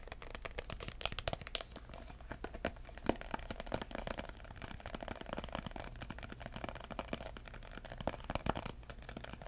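Fingertips tap and scratch the side and edge of a red embossed, paper-covered cardboard box with metal corner caps. Dense, quick dry taps mix with crinkly scratching, each sound short and dry with almost no ring. Occasional sharper taps stand out above a steady low background hum.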